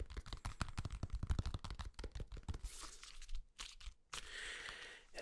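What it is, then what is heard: Banana peel tapped and scratched. A whole, unpeeled yellow banana held close to the microphone is tapped and scratched on its peel with fingertips and nails. Rapid, dull, low-pitched taps come first, followed by longer, brighter scratching and rustling strokes across the peel.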